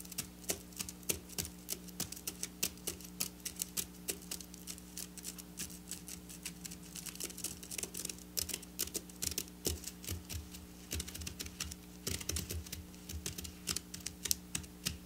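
Long black nails quickly tap and scratch over silver sequin fabric, producing a dense run of sharp, bright clicks and crisp ticking with almost no ring. A faint steady low hum sits underneath throughout.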